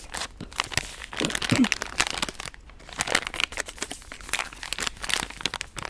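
A pink soft plastic wet-wipe pouch held close to the mic is scratched and tapped with long nails. It gives dense, bright crinkling and crackling with quick sharp taps that die away almost at once, and there is little low end.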